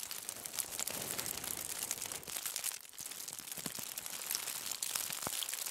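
A crumpled aluminium foil bundle lying on a table is scratched with the long nails of both hands. The result is a steady, bright crinkling and scratching texture with almost no low end, easing briefly about halfway through before continuing.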